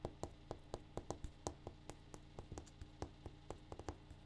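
A granite countertop is tapped in a quick, uneven run of short, dry taps. Each tap fades almost at once over a steady low hum.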